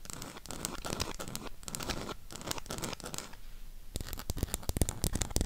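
Long pink acrylic nails tap and scratch the edges and back of a burgundy cardboard eyeshadow palette. Dry, rasping scratches run for about four seconds and briefly fade quieter, then give way to a quick run of sharp, crisp taps with a low thud beneath them.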